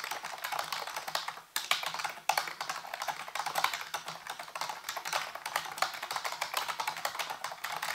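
A full-size black plastic keyboard with hollow keys, sitting on a white base, is typed on rapidly with fingertips. The result is a dense, steady stream of light, bright plastic clicks and clacks, with two brief pauses near 1.5 and 2.3 seconds.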